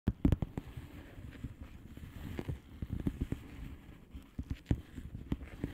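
Long polished fingernails of both hands tap and scratch a flat blue plastic bubble wrap padded envelope with air-filled bubbles, lying on a table. Quick, soft, dull taps with a low, muffled body die away almost instantly, mixed with quieter scratchy rustling. The pace is irregular and the overall level stays low.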